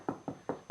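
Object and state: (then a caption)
Solid, well-bedded ceramic floor tile. Four short, solid taps on a ceramic floor tile set on a wood subfloor, checking that it is well bedded. Each tap is a dull knock with a quick decay and no hollow ring, indicating a solid tile that won't break.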